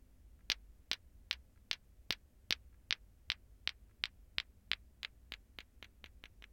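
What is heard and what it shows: A lato-lato ball clacker, a toy of two small solid, glowing green plastic balls on a string, is held and swung from the fingertips so the balls clack together, with the other hand near but touching nothing. There are 19 sharp, dry, bright clacks with no ring, and they come faster and closer together toward the end. A faint low rumble sits underneath.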